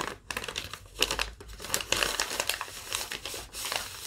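A thin yellow lined paper sheet, rolled and folded, is crinkled and rubbed by fingertips and long nails. It makes a steady run of dry, bright, crackly rustles with many quick snaps and almost no low end. Each crackle dies away instantly.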